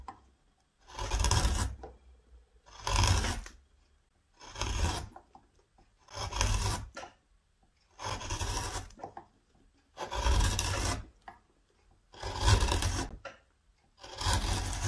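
A hand-held metal gouge carves and scrapes the bowl of a solid reddish wooden spoon blank, curling off shavings that pile up. Eight rasping strokes are heard, each a bright, gritty scrape over a low rumbling body, separated by short silences.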